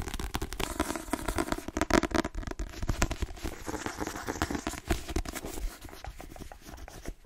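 A paperback novel, "The Twins," with a dark glossy cover and a solid paper block, is held in the hands and tapped quickly with fingertips and nails. Rapid, dry, crackly taps run together in an uneven flurry, each dying away almost instantly. They have a soft low-mid thud and little high sparkle.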